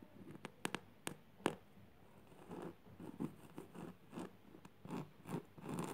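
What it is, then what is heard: Burlap fabric. Long purple nails scratch the coarse weave of a flat woven jute burlap surface, fingers curling as they drag. Several sharp, dry clicks open the clip, followed by a run of short, rough, crackling scrape strokes. The strokes swell and fade with a low-mid body and quick decay.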